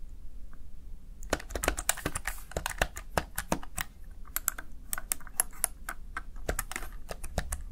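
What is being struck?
Plastic keypad keys.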